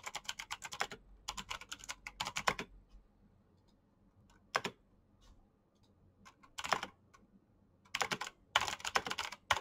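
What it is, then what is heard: Plastic mechanical keyboard typing. Fingertips type on a black plastic mechanical keyboard with clicky switches, making bright, sharp clacks with almost no low end. Fast bursts of key tapping give way to a quiet stretch with only a few isolated clicks, then the steady typing resumes in dense runs.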